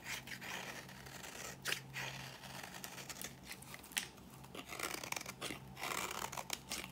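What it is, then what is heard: Dry bar soap scraped with a blade. A thin slab of dry, old cream bar soap held in the fingers is scraped repeatedly with a metal blade, cutting it down to powder. The result is a continuous run of dry, bright, crunchy scraping strokes with short, crisp bursts. A faint low hum sits steadily underneath.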